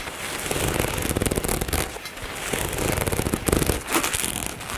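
Long nails tap and scratch the fabric near the zipper of a dark nylon zippered cosmetic bag resting on a table. The result is a dense, uneven run of quick, dry crackling taps and rustling scrapes with a low thumpy body, rising and falling in bursts over about five seconds.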